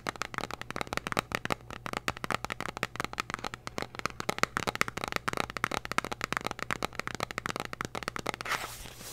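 Long dark-painted nails tap and scratch a small, hollow, red printed cardboard candy box held close to the mic. Rapid, dense dry clicks ring with a hollow papery tone around 1.3 kHz over a faint steady low hum. Near the end, the taps give way to a brief, bright, hissing scratch.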